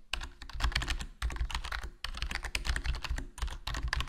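Continuous fingertip typing on a HyperX Alloy Core RGB plastic membrane gaming keyboard with a foam mod, a hollow black plastic body and black plastic keycaps. Soft, dense key presses carry a deep low thump with brighter clicks on top, in quick bursts with brief pauses around 1.2 and 2 seconds.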